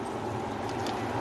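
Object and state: Nothing is struck.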